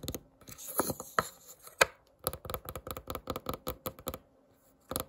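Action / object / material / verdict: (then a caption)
scrape / wooden candle lid / wood / none. Long nails and fingertips scratch and rub across the grain of a round, solid, varnished wooden candle lid. Short dry scratches and taps come in irregular bursts, with a stronger rubbing passage early on and a brief pause before a final scrape.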